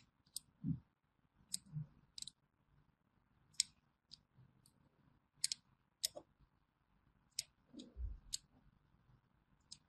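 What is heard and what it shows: A small thin metal blade scores crosshatch lines into a solid orange bar of hand soap held in the hand, scratching and cutting through its surface. Eleven short, crisp, bright clicks and scrapes come apart by quiet gaps, some with a soft low thud beneath, and each stops almost at once with no ring.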